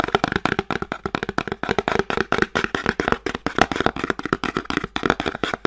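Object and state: Small cardboard box.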